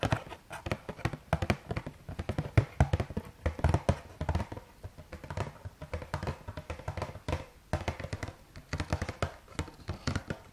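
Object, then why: Cardboard box of rice cakes. A green-and-white Carrefour Bio cardboard box of rice cakes is held upright and tapped and scratched with fingertips and nails. The result is a steady stream of quick, dull, hollow taps with a low, boxy thump and faint scratchy rustle between them. Each tap dies away almost at once.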